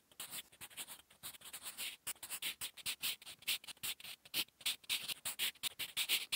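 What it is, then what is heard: Pencil writing on a paper notebook page. A sharpened wooden 8B pencil held in the fingers writes by hand on a flat sheet of lined drawing-paper notebook resting on a solid surface. Quick, dry scratching strokes of graphite on paper come in rapid bursts with short gaps, bright and papery with almost no low end.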